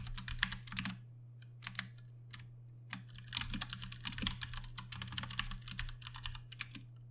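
Both hands type rapidly with their fingertips on a Ducky One 2 Mini 60% mechanical keyboard with Cherry MX Brown switches and plastic keycaps. Bursts of sharp, bright, short key clacks come with brief pauses between runs. A steady low hum runs underneath throughout.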